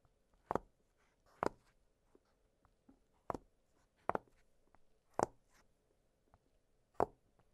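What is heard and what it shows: Fingertips press and pop the hollow bubbles of an octagonal blue silicone pop-it fidget toy lying flat on a glittery surface. Six soft, dull pops come at uneven intervals, each a brief broadband click that dies away almost instantly over a faint steady hum.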